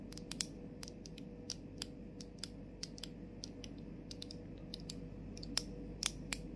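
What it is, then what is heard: Plastic mist bottle tapped with fingernails. Long acrylic nails tap and scratch a medium plastic fragrance mist bottle in the Bath & Body Works style, which is hollow and partly filled with liquid and has a clear plastic cap over a gold sprayer and a rainbow label. Quick, sharp, high clicks land at an irregular pace on the cap and body, each dying away almost instantly. Beneath them runs a steady low hum and soft background hiss.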